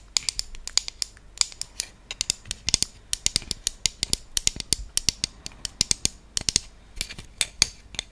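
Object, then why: Round wooden trivet. A round, flat wooden trivet with cutouts, held in both hands, is scratched and tapped with long fingernails along its surface and edges. The result is a quick, irregular stream of sharp, bright, dry clicks with no ring, with faint scratchy rustling between them.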